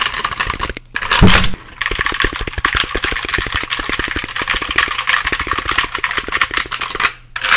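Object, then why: Plastic computer keyboard. A hollow black plastic computer keyboard, held close, is tapped and pressed rapidly across its keys by fingertips. The result is a dense run of quick, clicky, hollow plastic taps with bright high-end rattle, pausing briefly near the start and again near the end.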